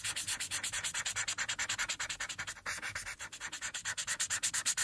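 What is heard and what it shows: A green felt-tip alcohol marker, held in the fingertips, rubs back and forth in dense coloring strokes across a thin white paper coloring page lying flat on a hard surface. About 44 quick, bright, scratchy strokes pulse at a steady pace with almost no low end and a brief dip partway through.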